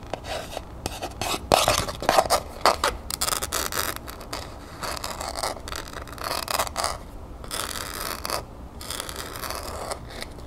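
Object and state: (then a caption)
Cardboard gift box, scratched and tapped. Long nails scratch and tap the lid of a small hollow cardboard gift box covered in copper paper with a sheer ribbon, held in the hand. Irregular bursts of dry, bright scraping blend with quick, light taps, fading to softer rubbing between strokes.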